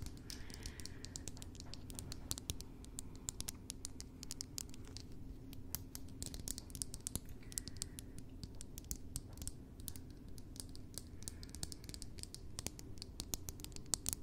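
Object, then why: Small metal lipstick case tapped with fingernails. Long painted nails tap and scratch a small, hollow, cylindrical rose-gold metallic lipstick case held in the fingers. The result is a quiet, dense patter of sharp, bright clicks and scraping ticks that die away instantly, over a low, steady hum.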